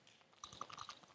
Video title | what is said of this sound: Amaze: Final Magic Showdown - Next Great Magician Winner Revealed | shake the nut. Something inside.